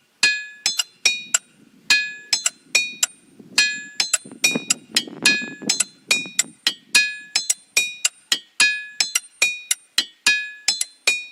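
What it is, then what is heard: Ringing rock, bell-like metallic tone. Rocks in a boulder field are struck with a hammer in a quick, uneven series of dozens of hits. Instead of thudding, each one rings with a bright, high, metallic tone like steel or a temple bell, over a faint low rumble in the middle. Unlike ordinary stone, these rocks ring and can be played to make tunes, a trait some attribute to high iron content.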